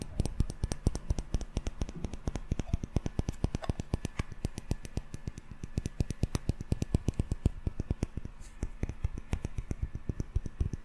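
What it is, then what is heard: Glass jar candle. A small glass jar candle filled with solid yellow wax, with a metal lid, is held up and tapped quickly by fingertips and short nails on its glass body and lid. The result is a fast, continuous run of short, dry clicks and taps with a dull, low-weighted body and almost no ring after each hit.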